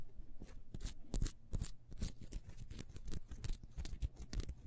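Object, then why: Ribbed beeswax candle. Long nails scratch rapidly along the grooves of a solid, ribbed, beehive-shaped beeswax candle, first standing on a table and then held. The result is a quick run of dry, scraping scratches with a low, dull body and bright edges, each dying away almost instantly.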